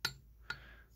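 Two light taps on the glass display stand of a 1995 Racing Champions Super Truck Series championship diecast truck give two bright, high clinks that die away almost at once. The stand sounds like glass, as it is listed.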